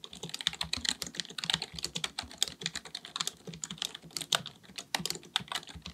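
Fingertips of both hands type rapidly on a black full-size plastic keyboard resting on a desk. A quick, uneven stream of sharp, bright key taps sounds out, each click dying away almost instantly with very little low end.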